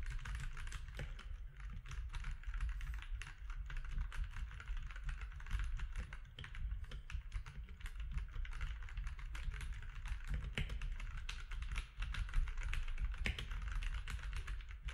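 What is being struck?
Plastic mechanical keyboard.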